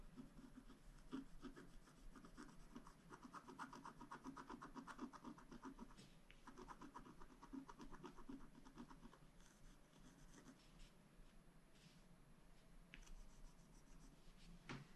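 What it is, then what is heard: Scratch art card being scratched. A thin wooden stylus held in the fingers scratches short strokes into a flat, black-coated scratch art paper card with holographic lines underneath, lying on a table. It makes a steady run of dry, rasping scrapes at about four strokes per second, with a low body around 270 Hz. The scratching eases to a softer, sparser stretch in the later seconds, then picks up again with a few sharper strokes at the end.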